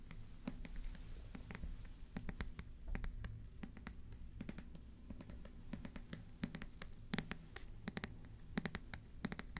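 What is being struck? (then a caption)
Paper paperback book. Fingertips scratch and rub the cover and page edges of a medium-sized paperback book with paper pages and a small purple sticker on its cover, held upright in both hands close to the microphones. Soft, dense scratching and rustling is punctuated by many sharp, bright ticks and taps over a low, steady rumble, all at a quiet level.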